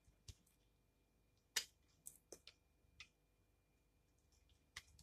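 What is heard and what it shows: A solid rectangular bar of pink soap held in the hand is scraped with a utility knife blade that shaves curls off its edge. Seven short, bright, crisp scraping clicks stand out against near silence, each dying away almost at once.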